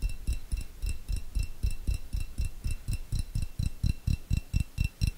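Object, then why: Small glass jar tapped with fingernails. A small, clear, hollow glass jar, nearly empty, is held above the mic and tapped with long fingernails. About 23 quick, slightly uneven taps come at roughly two per second, each a soft, deep thump with a faint bright click and a short, thin ring on top. The taps die away almost at once, with no lingering resonance.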